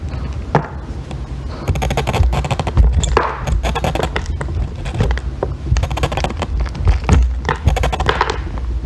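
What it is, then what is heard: Bar of soap being scraped. A thin metal extractor tool scrapes shavings off a solid pale green soap bar that is partly carved away, held in long-nailed fingers. Rough, closely spaced scraping strokes with soft thunking contacts sit over a heavy low rumble, with brief brighter bursts as shavings come away.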